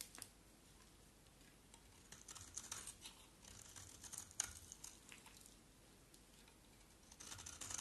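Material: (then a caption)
Soap. A box-cutter blade scrapes a small, solid olive-green soap bar with a black coating in repeated strokes. The sound is a quiet, dry, bright scratching and crisp rasping, with short, sharper peaks scattered through it and a busier flurry of strokes at the end.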